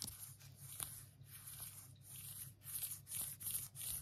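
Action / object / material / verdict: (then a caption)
scrape / fabric-covered plastic phone case / tweed fabric / none. Long acrylic nails scratch and tap on an empty pink phone case with a tweed fabric back and a silicone rim. Bright, dry rasping bursts rise and fall in uneven strokes over a steady low hum, with sharp little clicks from the taps between the scratches.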